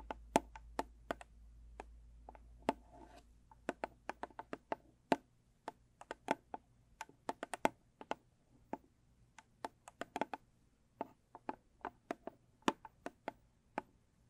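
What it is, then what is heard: Cardboard gift box. Long stiletto nails tap and scratch the top of a closed, small, square, rigid cardboard gift box with a blue textured lid. A steady, irregular stream of short, dry clicks with bright edges dies away almost instantly, with faint scratching between taps. A low hum is heard in the first few seconds.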